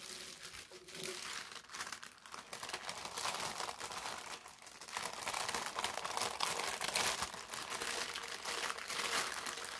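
A thin sheet of brown parchment paper is lifted and folded with both hands while fingertips with short nails crinkle and rub it. The result is dense, bright, continuous crinkling and crackling with almost no low end, swelling louder toward the second half.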